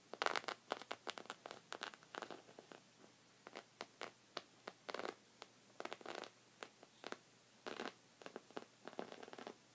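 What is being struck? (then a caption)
Knit fabric rug. Short red fingernails scratch a thick, cream, textured woven knit rug made of soft fabric. Quick, dry, crackly scratches come in irregular bursts and clusters with short pauses between them. Each stroke is bright and raspy and stops almost instantly.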